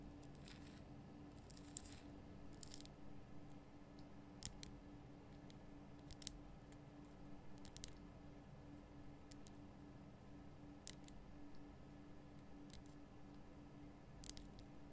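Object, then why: Rock-salt lamp tapped with fingernails. Long painted nail tips tap on a large, solid, lit pink rock-salt Himalayan salt lamp, making short, sharp, bright clicks scattered across the clip. Each tap dies away almost instantly over a quiet, steady low hum.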